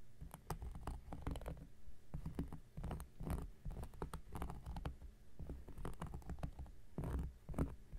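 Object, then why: Cork coaster scratched with a knife blade. An X-Acto knife blade scratches across the surface of a round, flat, solid cork coaster while the other hand steadies it. The result is a quiet, continuous run of soft, dull scratching and pattering strokes, mostly low in tone. There is little brightness and no ring after each stroke.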